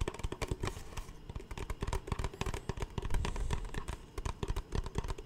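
An empty, capped, clear plastic Smartwater bottle, large (about 1 L) and hollow, is held upright in both hands and tapped and squeezed with the fingertips in front of the microphone. A rapid, irregular stream of short, dull, hollow taps and soft crinkling squeezes is heard, mostly low and thumpy with little brightness and each tap dying away almost at once.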